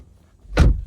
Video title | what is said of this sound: 2024 BMW 430i xDrive Review! Is This German Better Than its American Rivals? | close the door it sounds solid